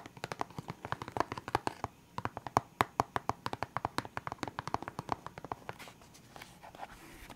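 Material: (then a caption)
Hard plastic. Fingertips and nails tap and scratch a full, clear hard plastic box of felt-tip pens, producing a quick run of dozens of sharp, dry clicks with a hollow plastic tone around 1 kHz and almost no ring. The taps pause briefly near the two-second mark, then resume before softening into fainter scratching toward the end.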